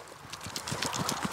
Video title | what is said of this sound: ‘We can’t switch it off’ Working on LIVE Electrics ( Power Analysis ) - ØY05 | you can hear it all sloshing around